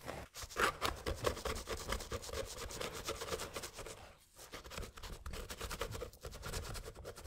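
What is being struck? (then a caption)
Rubber sneaker sole caked with dried mud, scraped with a metal pick. A thin metal pick scrapes dried mud out of the grooves and off the rubber midsole of a mud-caked sneaker with a leather upper, held in gloved hands. Quick, uneven scratching strokes repeat steadily, with a gritty mid-toned rasp and bright crackles, broken by a brief pause around the middle.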